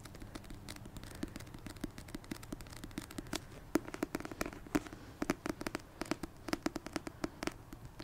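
Fingers tap repeatedly on a paperback copy of the Christmas rom-com book "A Merry Little Meet Cute." The clip is a steady run of quick, dry taps with a hollow papery thump around 300 Hz. Each tap dies out almost instantly over a soft background hiss.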